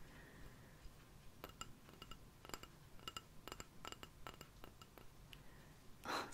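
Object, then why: Small ceramic rice bowl. A small, hollow, empty white ceramic rice bowl with a blue cartoon print is held in one hand and tapped with long painted nails. It gives a quiet series of quick, bright clinks with a short ring centred near 1.3 kHz. The clip ends with a brief, louder burst of broadband noise.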